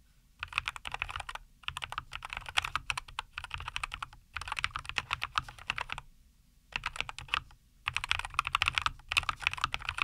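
Both hands type with their fingertips on a NuPhy Air75 V2, a compact 75% mechanical keyboard with a white case, linear Cowberry switches and green and white plastic keycaps, resting on a wooden desk. Bursts of quick, bright, clacky keystrokes come in several runs separated by short silent pauses. Each press sounds crisp and dry, with almost no ring.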